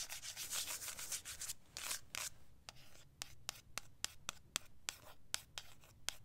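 Long acrylic nails scratch and rub across the printed surface of a flat, rectangular cardboard eyeshadow palette box (Sakura + Sage) held in one hand. For the first two seconds there are dense, hissy scraping strokes, then a run of sharp, bright clicks as the nails tick against the box.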